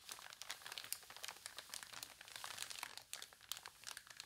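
Long nails tap and scratch across the thin newsprint of an open newspaper, and then a page is turned. The sound is a quiet, steady stream of dry, crinkly ticks and scrapes. Each one is bright, short and crisp, with almost no low end.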